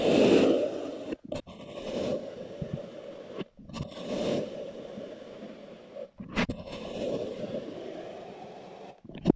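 A blue plastic knife presses down through a solid, loaf-sized block of brown kinetic sand poked with a grid of holes, slicing it repeatedly. Each cut makes a soft, grainy scraping crunch centered in the low mids, separated by brief silent pauses.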